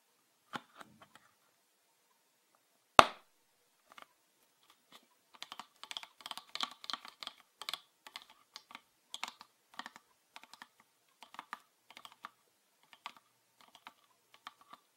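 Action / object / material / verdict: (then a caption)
tap / plastic PET bottle / plastic / none. Fingernails tap on a green PET bottle with a red cap, full of liquid. A few sparse, dry clicks are followed by one sharp, loud tap near the three-second mark. Then comes a steady run of quick, irregular light tapping with a bright, clicky tone centered around 1.2 kHz and almost no ring.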